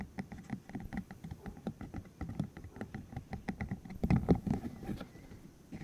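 A green, hollow silicone tube about 15 cm long with rubbery spikes is held in the hands while fingertips flick the spikes, squeeze it and rub it. This makes a fast, uneven patter of soft, low, thuddy taps and rubbery ticks with short brighter clicks on top. The taps grow denser and louder around the fourth second, then thin out.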